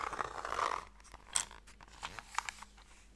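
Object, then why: Small wooden box with lid. Fingernails scratch and tap the lid of a small, closed, pale wooden Mikado box, a hollow box that holds sticks. A rough, continuous scratching for the first moment gives way to scattered, dry, bright taps that die away almost instantly.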